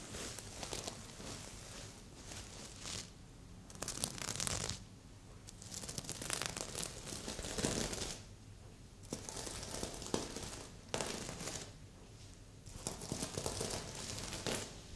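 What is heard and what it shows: Long pink and red nails scratch across a medium, soft stuffed heart-shaped pillow covered in red plastic sequins. Bright, dry crinkling and scratching comes in uneven bursts, with quieter stretches between the strokes.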